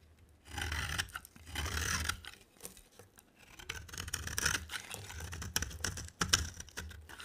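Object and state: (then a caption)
Dry bar soap shaved with a blade. A box cutter blade shaves a dry, rectangular cream and green bar of soap with a green edge. Bright, rasping scraping strokes come in uneven swells over a soft low rumble, with short dry crackles between them.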